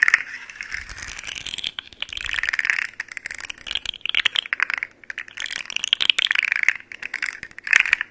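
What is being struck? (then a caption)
Segmented plastic fidget slug toy. A hollow, rainbow segmented plastic fidget slug toy has its segments bent and rattled by hands with long nails close to the mic. The result is bursts of dense, bright plastic clicking and crackling that come in waves over the clip, with short pauses between them.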